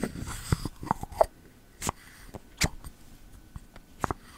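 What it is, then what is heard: Bamboo lid on ceramic candle jar. Fingertips push a bamboo lid into a pink ceramic candle jar and pull it back out, making about six soft, dry knocks and scrapes with short, woody mid-range clicks. Brief bright swishes come between quiet pauses, and each sound dies away almost at once.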